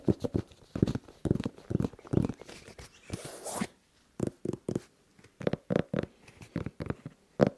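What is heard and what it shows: A single tan and red Nike sneaker with a suede upper and rubber sole, empty and hollow inside, is held in both hands while fingertips and nails tap and scratch the sole and upper, picked up close by wrist mics. Quick, dull, hollow taps come in uneven bursts with a low, thumpy body, broken by a brief bright, hissy scratch partway through.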